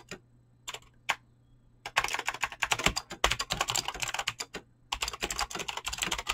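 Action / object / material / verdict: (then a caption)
tap / mechanical keyboard with clicky switches and PBT plastic keycaps / plastic / none. Fingertips with short painted nails type fast on a full-size mechanical keyboard with Razer green clicky switches and pink-blue PBT plastic keycaps, resting on a desk. A few scattered clicks give way to dense, uneven bursts of sharp, bright clacks with a short pause in the middle. Each keystroke is crisp and dies out almost at once.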